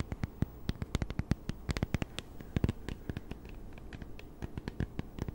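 Long nails tap and scratch the screen and back of a small, flat, solid plastic e-reader held in both hands close to the mic. Quick, dry clicks with almost no ring fall in an irregular pattern over a soft scratching rustle, with low, dull bodies and faint bright ticks.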